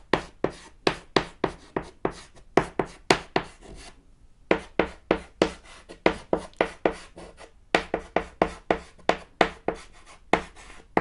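A thick white chalk stick scratches quick strokes across a small, solid, flat black chalkboard panel while writing. About 29 short, dry, broadband taps and scrapes each die away almost at once. They come in a steady run with a brief pause near the four-second mark.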